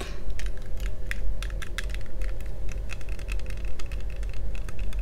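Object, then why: Plastic toy visor glasses. Fingertips tap and scratch the front and the side arm near the ear of yellow plastic toy visor glasses with a thin hollow frame, worn on the face. A rapid, continuous run of light, dry clicks and bright ticks, each dying away almost at once, rides over a steady low hum.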